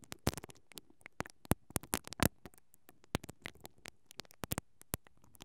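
A single mascara brush with black plastic bristles, held in a hand with long painted nails, is rubbed and scratched steadily over the hollow perforated metal grille of a stereo microphone capsule. The result is a quiet, uneven stream of sharp, dry, crackling scratches and ticks. Each stroke is a brief broadband burst from low thump to bright fizz that dies away almost instantly between strokes.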